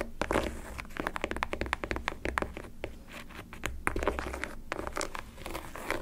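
Long decorated acrylic nails scratch and tap the leather panels and laces of a pink, black and white leather high-top sneaker in Jordan style, held hollow in the hand. A dense run of quick, dry scratches and short taps crackles over a steady low hum.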